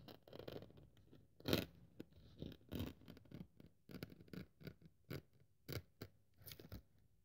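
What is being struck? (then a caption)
Thin polyethylene foam sheet scraped and cut with a blade. A craft-knife blade is pressed and drawn across the surface of a thin white polyethylene foam sheet resting on a wooden table. A series of soft, crackly scratching and cutting strokes follows, each a short, dry burst with a low, muffled body and little ring, the loudest near the middle.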